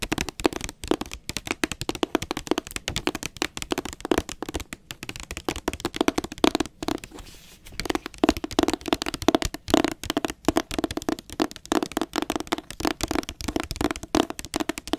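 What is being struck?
Hardcover book with glossy paper jacket.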